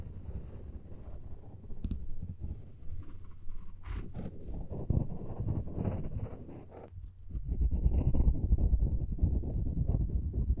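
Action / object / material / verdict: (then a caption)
scrape / wooden spoon handle scratched with floss / wood / none. The taut floss of a floss pick is drawn along the handle of a solid, light wooden spoon in a scratching motion. It makes a steady, low, dull rasping scrape. After a brief lull near seven seconds, the scratching returns louder and denser.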